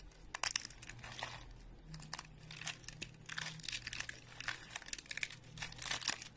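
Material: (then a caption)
Soap. A single stack of thin, flat, dry speckled soap flakes is held close up and snapped and crushed between fingertips. The result is a run of dry, bright, crisp crackles and crunches in dense bursts, with a faint low hum underneath.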